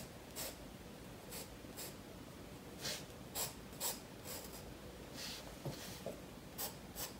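A graphite pencil scratches short, irregular strokes across a spiral-bound paper sketchbook page held flat by one hand on a wooden table while shading a koi drawing. Each stroke is a brief, bright, papery scrape that rises above a quiet, low background hiss.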